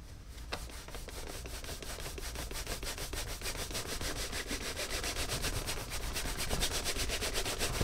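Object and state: Caiman leather boot being buffed with a cloth.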